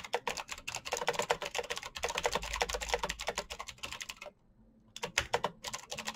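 Fingertips tap the clicky switches of a black plastic mechanical keyboard in fast typing, producing a dense run of sharp, bright clicks with very short decay. The typing pauses into near silence for about half a second, then resumes with more rapid keystrokes.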